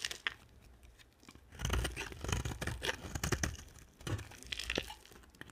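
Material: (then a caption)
Soap. A hand-sized, dry blue-and-white bar of soap is held in one hand and shaved with a box-cutter blade held in the other, the scraping and carving strokes flaking off crumbly chips. Quiet, dry, crunchy scrapes come in clustered bursts with bright crackle over a soft low thud, separated by near-silent pauses.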